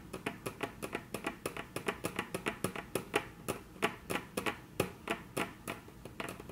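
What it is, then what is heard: Wooden tabletop tapped with fingernails. Very long natural nails tap rapidly on a flat, solid, dark brown wood-grain tabletop, making about thirty short, dry, clicky taps in a loose, uneven rhythm. Each tap is bright and crisp with almost no ring, over a quiet background.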